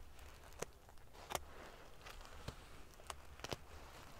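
Fingertips and nails ruffle the rows of silver metal pieces covering a large padded pillow made of metal-sequin fabric. Sharp, bright clicks and crackles rise in scattered bursts over a faint, steady low rumble, each dying away almost instantly.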